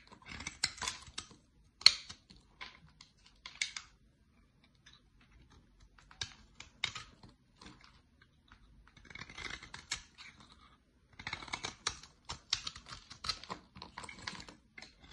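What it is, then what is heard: Bar soap being shaved. A utility-knife blade shaves flakes from a solid dark olive bar of soap, and the flakes pile up. Short, dry, bright scraping and cutting bursts come in clusters with silent gaps between them. The sound has almost no low end and no ring after each stroke.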